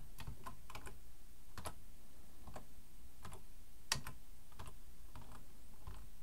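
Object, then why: Plastic computer keyboard. Both hands type with fingertips on a black plastic full-size computer keyboard resting on a wooden desk. Soft, irregular key clicks sound over a low, steady background, with one slightly sharper click partway through.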